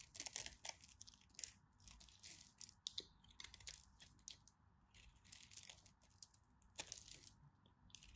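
A utility knife blade carves and scrapes small cubes and chips off a solid green and white striped bar of soap, and the pieces pile up. The sound is a quiet, steady run of dry, crisp crunches and scratchy scrapes, mostly bright and high with little low end. Each stroke stops at once, with almost no ring.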